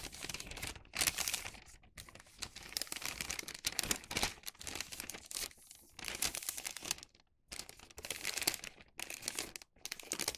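A thin printed Halloween wax paper sheet resting on a cutting mat is folded and creased with fingertips. Bright, high crinkling and rubbing comes in dense bursts separated by brief pauses, with almost no low end.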